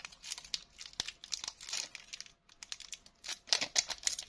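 A small, flexible Bazooka chew bar wrapper of blue printed plastic with a silver foil lining is held in both hands by the fingertips, with medium painted nails, and peeled open and crinkled, while other candies lie still on a wooden table. Bright, dry crackling and tearing rustles come in quick, irregular bursts, with a brief pause partway through. The crinkling grows louder toward the end.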